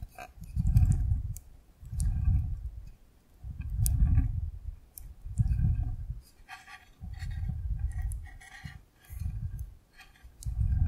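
A clear plastic container full of yellow water beads is tilted and shaken by hand so the beads shift inside. This gives repeated soft, low, squishy rumbling swells about every second and a half, with faint light clicks between them.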